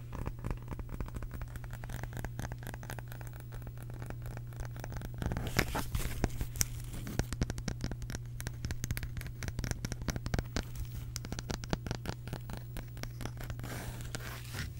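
Long pink nails tap and scratch across the face and rim of a small round wooden case with visible wood grain, held in the hands. Rapid, dry clicks and scratchy strokes run throughout, growing slightly louder midway, over a steady low hum.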